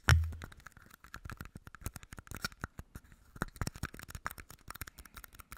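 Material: Plastic.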